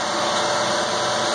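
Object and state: Nothing is struck.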